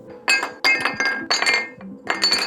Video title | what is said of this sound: Why PPS Feels More Like Metal Than Plastic | But if you drop PPS, it sounds like metal. Especially the carbon fiber or glass fiber PPS, it actually rings. There's a sharp, high-pitched tone that immediately tells you this is not a normal polymer.